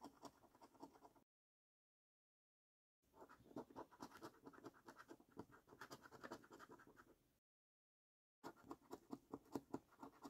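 A coin scratches the latex coating off a flat, thin cardboard paper scratch card resting on a dark wooden surface. Quick, quiet, rasping strokes come in three bursts separated by two silent pauses, with a dry, papery scrape centered in the mids.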